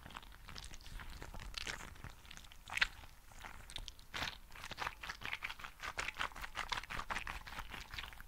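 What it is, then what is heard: Gel bead filled squishy toy. A green translucent squishy frog toy filled with gel beads is squeezed and rubbed with both hands close to the mic. It gives a steady run of soft, wet crunching and bright crackling clicks, with one sharper, louder pop early on.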